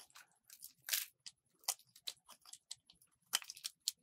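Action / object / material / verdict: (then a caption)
scrape / bar of soap cut with a metal blade / soap / none. A solid white soap bar with a red layer is scraped and shaved with a metal box-cutter blade, and the dry flakes crumble into the palm. About fourteen short, dry, crisp scraping bursts are heard, bright and hissy with almost no low end, each dying away almost instantly at a quiet level.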